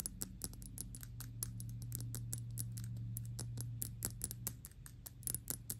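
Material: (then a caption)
Glass. Long pink nails fast-tap the face of an upright Gucci Intense Oud perfume bottle made of thick dark glass and filled with liquid. The result is a quick, uneven run of short, bright, clicky taps that die away almost at once over a steady low hum.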